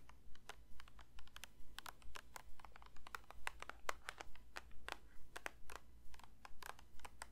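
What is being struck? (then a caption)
Plastic lotion bottle. Fingers lightly tap a plastic lotion bottle in a quick, fairly steady rhythm, making soft, dry, clicky taps with a bright edge that die away almost instantly. A constant low hum sits underneath the quiet tapping throughout.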